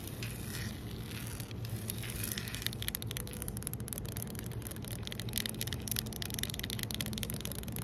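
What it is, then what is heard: Solid concrete pavement. Fingertips and nails scratch and tap across flat, solid, rough outdoor concrete pavement. The result is a steady, gritty crackle of dense, fast scrapes and short taps with bright, sharp edges over a constant low rumble.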